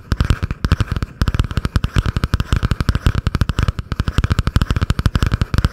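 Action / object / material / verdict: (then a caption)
tap / cardboard-covered spiral notebook / cardboard / none. Long painted nails tap and scratch fast on the cardboard cover of a butterfly-print spiral notebook held above the microphone. The result is a rapid, nearly unbroken stream of short, dull, bass-heavy taps with very little brightness, pausing only briefly now and then.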